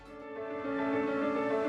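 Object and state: Nothing is struck.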